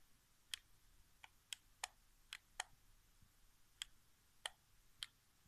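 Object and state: Plastic game controller buttons.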